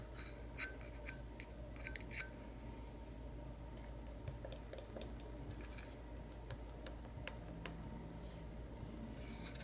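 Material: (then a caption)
Plywood. A small, light plywood craft knife box with finger joints and a metal latch is held closed and hollow in both hands and tapped with fingertips and fingernails. Quiet, scattered clicks and dull knocks with short bright ticks and a faint woody ring sit over a steady low hum.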